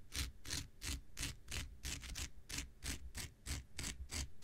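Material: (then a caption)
Synthetic fiber. An X-Acto knife blade scratches back and forth across a thin, hand-sized blue non-woven synthetic fiber scouring pad held in the hand. About fifteen quick, evenly paced rasping strokes sound, each a bright, hissy scrape over a low rumble, with short pauses between them.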